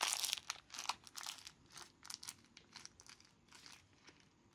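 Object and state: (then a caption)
Thin plastic bag. Hands in yellow rubber gloves crumple and squeeze a thin, translucent, empty white plastic bag into a small ball. A series of bright, crisp crinkling bursts starts loudest and dense, then breaks into quieter, scattered crackles as the bag is pressed tighter.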